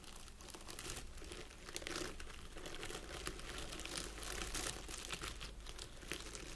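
Fingertips and nails of both hands scratch and press into a small round wreath of artificial plastic pine needles resting on a table. A steady, dense crinkling and crackling rustle fills the clip, bright and scratchy, with a faint low hum underneath.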